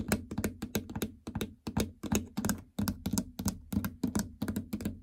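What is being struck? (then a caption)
Plastic treadmill console keypad. Fingernails tap repeatedly on the plastic membrane keypad buttons and surrounding panel of a treadmill console with a hollow housing. The taps come in a quick, uneven rhythm, each a short click with a hollow, low-mid thunk that dies away almost at once, with bright clicky edges on top.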